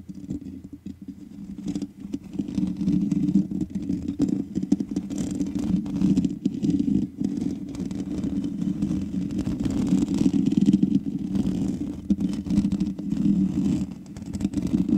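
Long nails scratch the sides and top of the hollow metal mesh head of a black microphone, producing a continuous low, rough scraping and crackling with a steady hum-like tone around 200 Hz. The sound stays dense and unbroken, swelling and fading slightly throughout.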